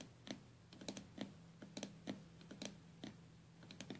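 Long nails from both hands tap rapidly on the glass lid of a small stained glass box with metal came lines. About sixteen quiet, sharp, bright clicks land in an irregular rhythm, each dying away almost at once. A steady low hum runs underneath.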